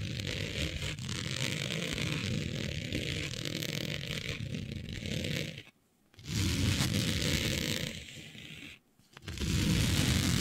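Long nails scratch across a smooth synthetic fabric printed with planets, laid flat. A steady, dense rasping with a low rumbling body and a bright hiss runs throughout, broken by two brief pauses near the six- and nine-second marks before resuming.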